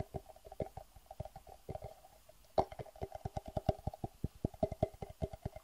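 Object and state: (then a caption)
Clear acrylic plastic box, hollow and empty. Fingernails tap and scratch the sides of a medium, clear, hard acrylic plastic box that is hollow, empty and held in the hands. About thirty quick, dry, hollow clicks with a woody midrange body die away almost instantly, with faint scratching between them. A short lull is followed by a louder tap and a busier, steadier run of taps.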